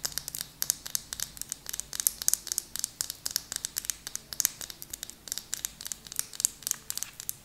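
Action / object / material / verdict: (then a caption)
tap / small plastic lip gloss tube / plastic / none. A small, slim purple plastic lip gloss tube with a black cap is held in both hands and tapped and scratched with long painted nails. The result is a rapid series of short, dry, bright clicks and scratches, almost entirely high-frequency with no low-end body and no ring after each hit.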